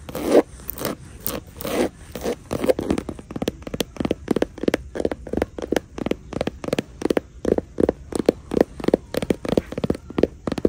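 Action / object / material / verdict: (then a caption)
scrape / woven straw crossbody bag / straw / none. Long nails scratch and tap the woven straw/raffia front panel of a small hanging crossbody bag with white faux leather trim and a gold buckle. The result is a rapid series of short, dry, rustling scratches and taps that stop almost instantly, with a crisp mid-range texture.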